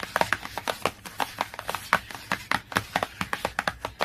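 Long nails rapidly tap and scratch the laminated cover of a glossy cardboard hardcover book, producing a quick run of about 26 short, dry clicks. Each click dies away almost instantly and centers around 1.5 kHz. A faint scratchy rasp runs between the clicks.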